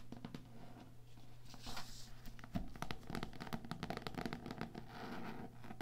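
Fingertips and long nails tap and scratch the textured cloth cover of a small old cloth-bound hardcover book lying flat on a table. Quick, dry taps are mixed with soft scratching over a low steady hum.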